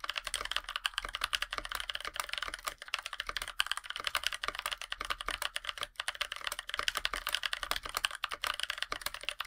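A NovelKeys NK65 Aluminum compact 65% mechanical keyboard, with a black aluminum case, white PBT plastic keycaps and lubed NovelKeys Blueberries tactile switches, is typed on continuously by both hands' fingertips. The result is a rapid stream of short, bright, crisp key taps that stop almost instantly, with very little low-end thud.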